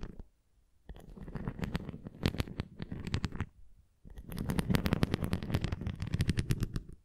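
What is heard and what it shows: A red plastic flying disc toy is held flat while long nails tap along its rim and bumps. The result is rapid, dull tapping and scratching, heavy in the low end with faint bright clicks, in two bursts separated by a short pause, the second busier than the first.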